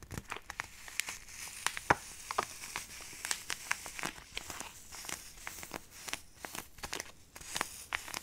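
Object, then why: Plastic foil sachet of powder. A small, flat, printed plastic-foil sachet of instant snow powder, sealed and apparently filled with dry powder, is held upright in both hands and crinkled and rubbed with fingertips and long nails close to the microphone. It gives a steady, dense crinkling with many sharp, bright crackles and quick snaps over a soft rustle. There is almost no low end.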